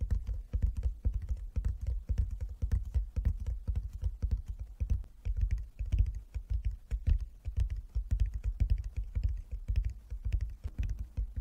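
Fingertips tap rapidly on a wooden chess board, a box lined with fabric inside. The taps are dull, low, muffled knocks that die away almost at once, in a dense, uneven patter that runs throughout the clip.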